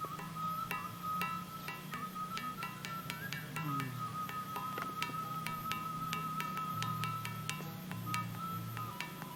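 At the Gunung Padang megalithic site, a dense andesite stone column is struck repeatedly, giving bright, bell-like musical tones that ring on over a steady low hum. The stone rings because it is very dense and sits raised off the ground, so its vibration is not damped.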